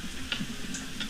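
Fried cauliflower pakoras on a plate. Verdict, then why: Crisp. Fried cauliflower pakoras are set out on a plate, making short, light ticking clicks over a low steady hum. The pakoras are crispy and crunchy.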